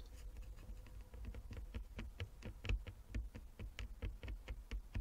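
Long fingernails of both hands tap quickly and unevenly on a flat wooden chess board with inlaid squares. The result is a quiet stream of short, dry, clicky taps with bright edges over a steady low rumble.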